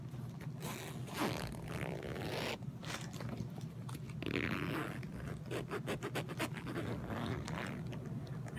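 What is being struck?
Quilted cotton bag with a zipper.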